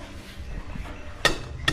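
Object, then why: Concrete hollow block. An old, buried concrete hollow block that looks patched is tapped twice, each tap giving a sharp, bright click with a very short ring. Low outdoor rumble runs underneath, and the block is identified as an old concrete hollow block.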